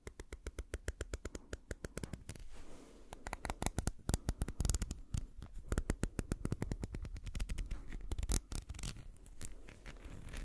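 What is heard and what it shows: Fingers scratch and rub the white plastic dropper cap and blue bulb of a small amber (brown) glass dropper bottle. The result is a rapid, uneven run of short, dry scratching clicks with a heavy low thump and no ring. Between the sharper bursts there are stretches of softer rubbing.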